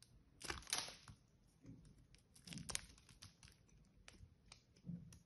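A solid green bar of soap, unwrapped and held in the hands, is carved and scraped with a small metal blade, shaving off pieces. Bright, dry scraping and crisp tearing crackles come in bursts, with soft low rustles between the louder cuts.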